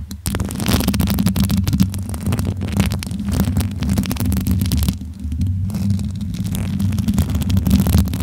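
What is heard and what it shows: Long acrylic nails and fingertips rub and scratch over the hollow metal mesh grille of a bare pink microphone. The result is a steady, dense, throbbing low rumble with a faint scratchy texture on top, easing briefly in the middle before building again.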